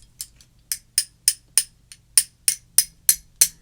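Jewelry beads that look dirty on the inside are clinked together again and again, making a quick series of short, bright, high clicks with almost no ring and uneven spacing. They sound like glass rather than plastic.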